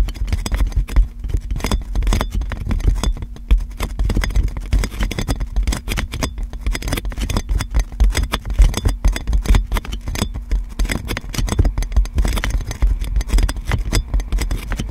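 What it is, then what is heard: Cling film over a microphone, scratched and tapped. Long black-painted nails on both hands scratch and tap clear plastic cling film stretched tightly around a large metal USB microphone. The result is a dense, continuous stream of crinkling scrapes and quick taps. Deep, boomy thumps dominate, with faint bright crackle above and a steady low hum underneath.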